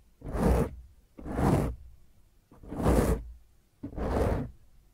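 Fingertips and long nails of both hands scratch and rub the top of a black foam microphone windscreen. Four separate rough, swishing bursts are heard, each about a second long with a heavy low rumble and a bright hiss, separated by short quiet gaps.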